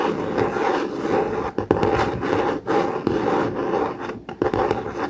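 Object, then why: Laminated cardboard notebook cover. A blue COMIX hardcover notebook with a laminated cardboard cover lies flat while its cover is scratched and tapped with fingertips and nails. A steady, dry scratching rasp centered in the low mids fills the clip, broken by a few brief pauses and sharp taps.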